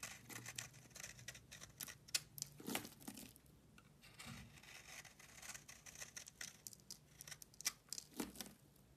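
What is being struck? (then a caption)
Solid bar of soap scraped with a metal blade. A metal blade scrapes flakes off the cut face of a solid tan bar of soap that has been partly carved. The sound is a quiet, rapid series of crisp, bright scraping and crinkling strokes, each dying away almost at once with very little low end.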